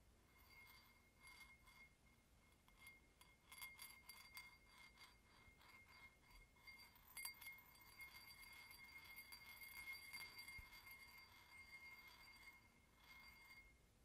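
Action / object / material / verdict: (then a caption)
tap / glass drinking tumbler / glass / none. A small, clear, empty drinking glass with a red mark is held up in one hand and tapped with the fingertips of the other. It gives quick, irregular clinking, chime-like hits with short, bright rings over a soft background hiss.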